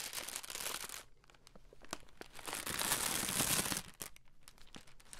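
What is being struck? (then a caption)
Plastic-film candy bag. A red plastic-film Skittles candy bag is held in both hands and crinkled and scrunched with the fingers close to the mic. Bright, crackling rustles open loudly, thin out into sparse sharp crackles, then swell into a dense, loud scrunch before settling back into softer intermittent crinkles.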